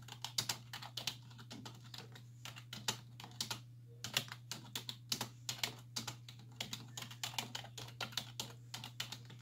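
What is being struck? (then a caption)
Plastic computer keyboard. Long nails and fingertips tap rapidly on the hollow keys of a black plastic computer keyboard resting on a wooden desk. The clicks are sharp, bright and quickly damped, with brief pauses between bursts of typing. A steady low hum runs underneath throughout.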